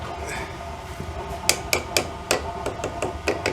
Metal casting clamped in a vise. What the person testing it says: if I tap it with a hammer, then you can hear that not much movement there